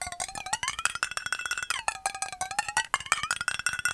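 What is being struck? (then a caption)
Metal bottle. A metal bottle is tapped fast and hard, giving about two dozen quick, clinking metallic hits with a cowbell-like ring. The ringing tone slides up from about 700 Hz to about 1.4 kHz, drops back, and then rises again as the tapping continues.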